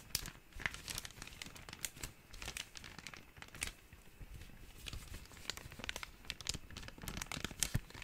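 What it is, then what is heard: Small clear plastic bag. A small, empty, thin clear plastic bag is crinkled and squeezed between the fingertips. Dense, bright crackling and crinkling runs throughout with many quick, sharp snaps and a soft low rumble underneath.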